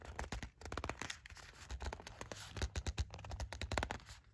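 Long pointed black nails scratch rapidly across a small, thin, flat gold printed cardboard sandalwood incense package, held and then lying on a fluffy rug. A dense run of dry, crisp scratches and scrapes, each ending almost instantly, with a soft low thump underneath and bright papery edges on top.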